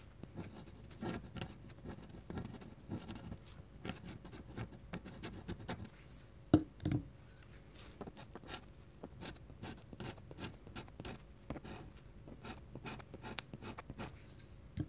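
A metal pen nib held in the fingers scratches quick ink hatching strokes across a large, thin, solid, flat white paper sheet lying on a table. The result is a quiet run of short, dry scratching strokes that come in rapid bursts and die away almost instantly. Around the middle, a couple of louder scrapes stand out.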